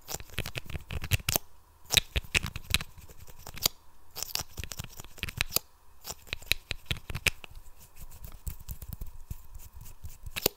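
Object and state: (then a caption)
Plastic mascara tube, wand pulled in and out. A small, hollow lime-green plastic mascara tube is held in both hands while its wand is repeatedly pulled out and pushed back in. This produces dense, crisp friction clicks and scratchy rasps against the plastic neck, bright and dry with almost no ring. A faint steady tone sits underneath throughout.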